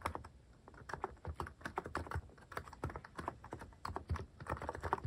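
Fingertips type steadily on a mechanical keyboard fitted with plastic cat-shaped keycaps. A rapid, uneven stream of short, dry keystrokes follows, each with a low thocky body and a mid-pitched plastic click that dies away almost instantly.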